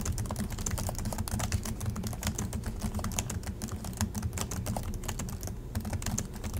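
Both hands type continuously with their fingertips on the low-profile plastic chiclet keys of a silver Acer laptop. The result is a dense, steady stream of quick, bright clicks and taps, each dying away fast, over a constant low, rumbling undertone.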